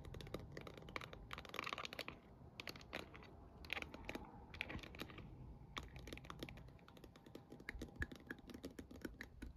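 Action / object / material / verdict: tap / plastic star projector dome / plastic / none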